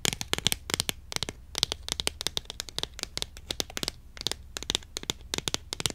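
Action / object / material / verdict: tap / cardboard tube box of incense sticks / cardboard / none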